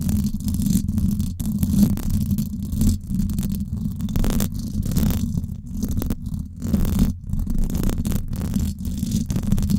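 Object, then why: Woven-wire metal microphone grille. Long acrylic nails scratch the hollow, silver woven-wire dome grille of a Blue Yeti microphone. The result is a dense, continuous low rumbling scrape with a humming tone around 220 Hz. It swells and dips in rapid bursts, with faint bright hiss streaks over the top.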